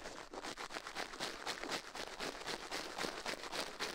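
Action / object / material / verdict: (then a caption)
scrape / silicone ear on a binaural microphone, brushed with toothbrush bristles / silicone / none. A gloved hand brushes and scratches inside the left life-size soft silicone ear of a binaural microphone with a toothbrush's bristles, while the other gloved hand rests still on the metal mic plate. Fast, bright, scratchy strokes repeat at roughly four per second in an uneven rhythm, each a short rasp that stops almost instantly with no ring.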